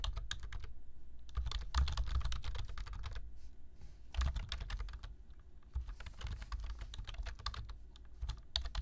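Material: Plastic.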